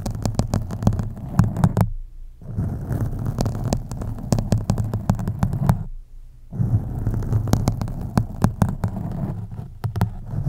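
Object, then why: Foam microphone windscreen. Long nails lightly scratch the sides of a black foam microphone windscreen, with the hands partly hovering. The result is a deep, muffled, rumbling scratching full of soft crackles and sharp clicks. It breaks off briefly twice before resuming.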